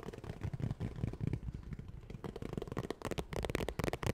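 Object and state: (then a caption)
Vinyl makeup bag tapped and scratched. A medium zippered makeup bag with a holographic, iridescent textured vinyl cover, hollow and held up, is tapped and scratched rapidly with long nails. The result is a dense, chaotic run of dry, soft, crinkly taps and scrapes, mostly low and muffled, with quick bursts reaching brighter, with almost no ring after each contact.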